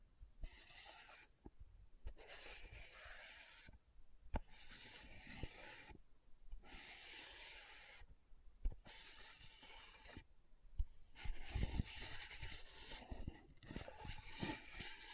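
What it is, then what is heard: Plastic powder jar lid scratched. Long nails rub and scratch across the top of a small, round plastic loose powder jar with a dark purple lid. The result is a dry, bright, rasping scrape that comes in repeated bursts separated by short pauses, with a few sharp clicks along the way.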